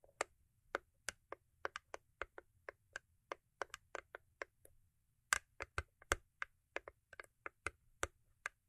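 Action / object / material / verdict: tap / foil-covered cardboard gift box / cardboard / none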